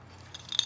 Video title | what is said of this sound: How to change oil 2009 Yamaha V-Star 650 | it feels like it's plastic but it sounds like it's metal